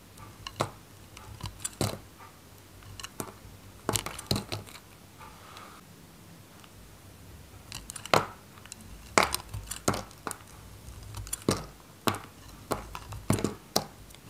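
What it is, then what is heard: Dry soap bar. A metal knife cuts and slices pieces from a white, solid, varnished dry Godrej No.1 soap bar held in the hand. Sharp, crisp crunches and snaps come in irregular bursts over a quiet background. Each one is bright, centred around 1 kHz, and dies out almost at once.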